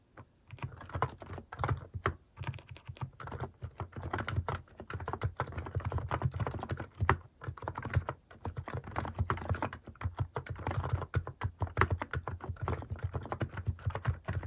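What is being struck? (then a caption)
Mechanical keyboard with plastic keycaps. Fast fingertip typing on a compact Hanmumu mechanical keyboard fitted with cat-shaped plastic keycaps. It produces a dense, continuous stream of short, deep, thocky key clacks with very little ring. The typing pauses briefly around 2, 7, 8 and 10 seconds before carrying on.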